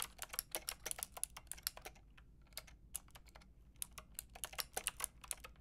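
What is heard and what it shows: Fingertips with long red nails type rapidly on a Lofree mechanical keyboard with a white plastic case and round pink and grey plastic keycaps. About 28 sharp, bright clicks arrive in quick bursts with a brief lull in the middle, each dying away almost instantly. A faint tone sits low underneath.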